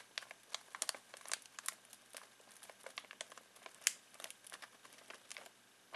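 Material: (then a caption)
Foil plastic. Fingertips scratch and crinkle a full foil-plastic snack bag of pistachios, producing a quiet, continuous run of sharp, bright crackles and rustles. The sound is dry and high with almost no low end, and each crinkle dies away almost instantly.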